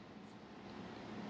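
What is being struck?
Nothing is struck.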